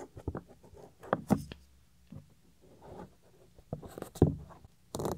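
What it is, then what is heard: Silicone ear cover of a binaural microphone, scratched. Fingernails and fingertips scratch the small, solid, white soft silicone ear cover of a 3Dio binaural microphone. Close, muffled scratching and rubbing come in uneven bursts with sharper scrapes, heavy in the lows and with little brightness. Quiet gaps separate the bursts.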